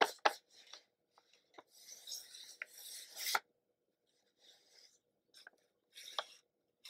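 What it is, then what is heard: Cardboard box. Black-gloved fingertips rub and scratch across the printed surface of a small kraft cardboard retail box for a Starbucks paper camera, which is hollow and apparently still closed with its contents inside, while it is held in both hands and turned from front to back. Dry, bright scratchy rasps come in short bursts, punctuated by several sharp, quick taps with almost no ring, separated by brief silences.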